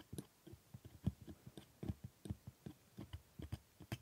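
A steel hooked scaler held in a gloved hand scrapes and taps the hard plastic teeth of a plastic typodont dental model. The result is a quick, irregular series of soft, dry clicks and scrapes, mostly low and dull with faint bright ticks, each dying away almost instantly.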